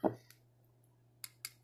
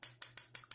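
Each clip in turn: First: plastic cap imitating crystal. Second: glass perfume bottle.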